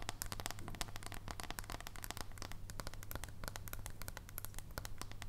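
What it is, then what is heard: Dark chocolate bar tapped with nails. Long nails tap rapidly on the edge and surface of a solid dark chocolate bar held horizontally, making quick, irregular, crisp clicks that die away almost instantly. A steady low hum runs underneath throughout.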